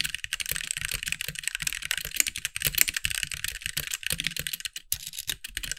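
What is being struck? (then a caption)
Mechanical keyboard with plastic keycaps. Both hands type with the fingertips on a compact backlit mechanical keyboard with white plastic keycaps. They make a fast, steady stream of sharp, bright plastic clacks that each die away almost instantly, with a faint low thump under some keystrokes.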